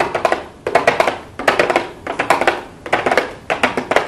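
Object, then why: Small cardboard box with plastic window. Long blue acrylic nails tap and lightly scratch a small, hollow pink cardboard makeup box with a clear plastic window. Quick bursts of crisp, hollow clicks with a papery scratch come in uneven clusters. The tone is mid-pitched with bright edges and very little low end.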